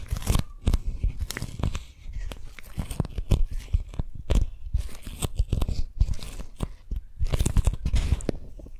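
A single strawberry-print beeswax-coated cotton food wrap is held taut between both hands near the mics while long nails scratch and tap the stiff waxed fabric. Dense, dry crinkling scratches alternate with sharp taps that land as low, bassy thumps and die away almost instantly, with short quiet gaps between bursts.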